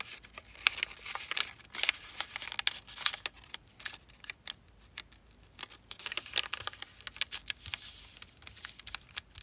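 A single thin sheet of black-and-white zebra-print origami paper, partly folded into a long diamond shape, is folded, creased and pressed along its edges by fingertips and long painted nails on a black surface. Dense, bright, crisp crinkles and sharp papery clicks come in quick irregular bursts with almost no low end. Each snap dies away at once, leaving a soft rustle between creases.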